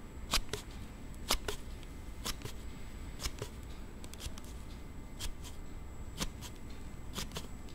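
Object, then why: Hard plastic sliding phone case. A hand-held Note7 phone in a hard plastic slide case has its sliding back panel pushed open and closed by thumb, making sharp, bright, scissor-like clicks. The clicks come in short pairs about once a second over a steady low rumble. The case is making a sound it shouldn't.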